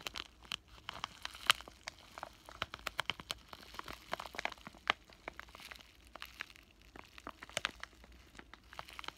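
A flat, thin pink plastic bubble-wrap zipper pouch with a printed paper insert inside is held in both hands and crinkled and squeezed with fingertips and short painted nails. Dense, bright crinkles and sharp crackling snaps come in quick, irregular bursts over a quiet background.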